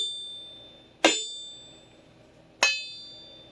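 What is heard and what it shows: A vintage Clyde Cutlery carbon steel chef knife blade is flicked twice, each flick giving a bright metallic ring with a clear high tone near 3.6 kHz that slowly fades. The pure, sustained ring marks the blade as good steel, where a cheap knife would only thud.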